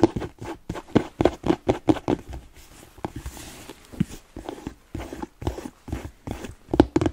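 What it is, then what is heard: Leather boot, tapped and scratched. Fingertips and nails tap and scratch the upper of a smooth black leather Chelsea boot that is hollow and empty. A rapid run of short, dull, hollow taps with a low-mid knock mixes with softer scratching rustles in between. Each tap dies away almost at once.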